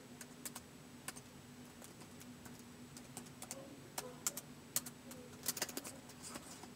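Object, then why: Plastic laptop keyboard. Fingertips type slowly on a white plastic laptop keyboard, producing a sparse string of short, bright, crisp key clicks. The clicks sit over a faint steady low hum and soft background hiss.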